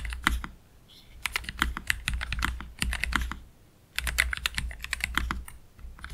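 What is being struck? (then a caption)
Low-profile mechanical keyboard, plastic keycaps. A black Keychron K3 Pro low-profile mechanical keyboard with Gateron Red low-profile switches and plastic keycaps sits on a desk mat while both hands type slowly with their fingertips. Bursts of crisp, bright key clicks come in clusters, separated by brief pauses, over a steady low hum.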